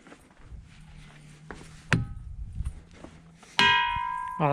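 A hammer strikes an igneous monzonite boulder that appears hinged out, three times: a short ding, then two bright, clanging, bell-like rings with a clear tone near 950 Hz. The boulder rings very strongly, with the final strikes sustaining over a quiet background murmur.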